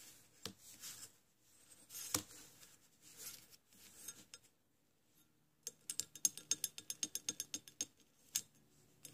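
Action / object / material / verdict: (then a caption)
tap / scallop seashell / shell / none. Long nails on a bare hand scratch and tap across the ribbed surface of a small, hollow, ridged orange scallop shell resting on a sand-covered surface, with a starfish and small shells lying nearby. Soft, bright scratching rustles come first, followed after a brief pause by a rapid series of quiet, sharp, clicky taps with almost no ring.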